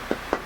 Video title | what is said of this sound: Sapele - Luthier Wood Review - Tonewood | a beautiful tap tone you know as a dense hardwood so you can hear nice and bright